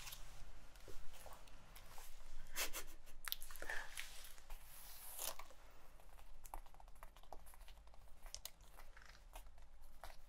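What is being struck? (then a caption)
Leather jacket. Long white-painted nails and fingertips scratch and rub the chest of a worn black leather biker jacket with metal snaps and a zipper. The result is a close, quiet run of dry, crackly scratches and soft rubbing swishes, some sharp and bright, over a faint steady low hum.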